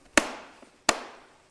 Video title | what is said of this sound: BEST PRESSURE WASHER EVER MADE? AVA P80 Master vs Kärcher K7 - Duell of the Premium Pressure Washers | it's a loud and audible click